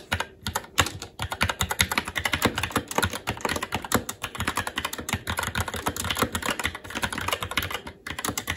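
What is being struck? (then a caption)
Mechanical keyboard with plastic keycaps and metal plate. Fingertips of both hands type continuously on a SteelSeries Apex 7 TKL mechanical keyboard with red linear switches, plastic keycaps and a metal top plate. A steady, dense stream of short, bright plastic clacks with a low thock under each keystroke runs throughout, pausing only briefly now and then.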